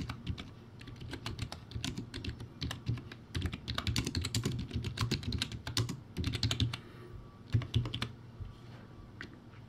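Rapid fingertip typing on a low-quality, backlit, typewriter-style plastic keyboard with round white plastic keycaps. It makes a dense run of bright, clacky taps over a hollow, low-pitched body. Each keystroke dies away almost instantly, with brief pauses between bursts.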